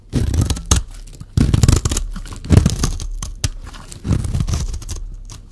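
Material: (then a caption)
Soap. A metal utility-knife blade shaves a solid, rectangular, yellow-green bar of dry soap held in the hand. Dense, low-heavy scraping and crumbly tearing comes in repeated strokes, with sharp crisp clicks. Each stroke fades back to quiet rustling between passes.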